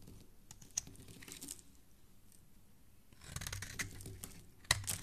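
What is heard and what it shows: A dark metal blade scrapes and carves shavings off the face and edges of a solid, rectangular, hand-sized pink bar of soap held in one hand, with the flakes falling onto a wooden surface. Soft, crisp scraping and bright little ticks come at a steady pace, quieting for a moment in the middle before denser carving strokes pick up, ending with one sharp click near the end.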